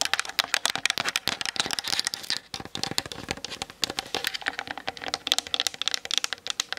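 Long nails tap rapidly on the hollow plastic body and lens of a Canon DSLR camera mounted on a tripod. The taps are a dense run of sharp, bright clicks with almost no low end and no ring, clattering like fast typing.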